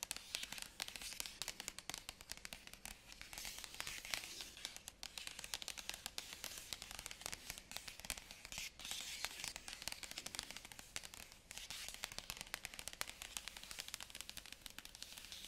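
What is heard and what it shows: Long manicured nails on both hands drum and scratch the printed lid of a large, flat, white cardboard iPad Pro 2020 box, still sealed in plastic film and lying on a carpet. The result is a dense, steady stream of quick, bright, crinkly taps and scratches with almost no low end, each one dying away almost instantly.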